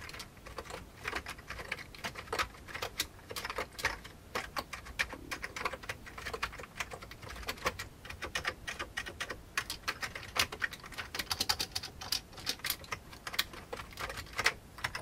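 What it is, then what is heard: Old plastic computer keyboard. Fingertips of both hands type steadily on the keycaps of a full-size old beige plastic computer keyboard with a hollow plastic case. Quick, bright, clicky taps follow one another in a fast, uneven rhythm, each dying away almost at once. The overall level stays quiet, with only a faint low-end thump under the clatter.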